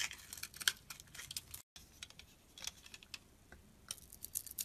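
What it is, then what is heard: Soap bar being shaved. An oval Yardley soap bar, blue on the surface and white inside, has curls shaved off it with a utility blade. Quiet, bright, crisp scraping ticks come in quick bursts, with a brief silent gap near the middle. Each short stroke leaves almost no low end.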